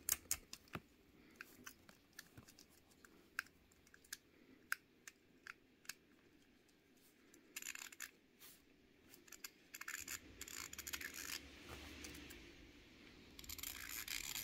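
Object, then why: Plastic fidget cube. A small pink plastic fidget cube is held in the hand while fingertips flick its switch, spin its dial and press its clicker face. Sharp, bright plastic clicks come first as separate snaps, then give way to denser bursts of rapid ticking and rattling whir. The sound is quiet and crisp with almost no low end.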